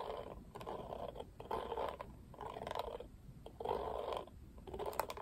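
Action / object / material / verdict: scrape / plastic paddle hairbrush with plastic bristles / plastic / none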